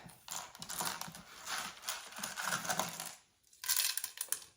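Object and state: Crispy dry dehydrated tomato pieces.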